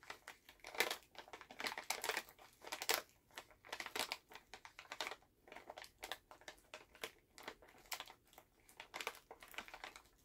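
A full Halls plastic cough drop pouch is held in both hands while fingertips crinkle and tap the bag. Quiet, irregular bursts of bright, crisp crackling and light tapping run throughout, with almost no low end and very short decay.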